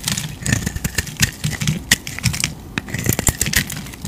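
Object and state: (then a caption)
Bar soap being carved. A utility knife blade scrapes and carves shavings off an oval, solid white bar of soap with a dark coated shell, held in the palm. The strokes come as a rapid series of short, crisp scrapes, each with a bright, hissy edge over a soft low thump. Quieter rasping fills the gaps between them.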